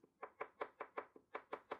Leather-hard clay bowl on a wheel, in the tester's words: that is the sound you might want to remember so next time you don't need to depending on the measuring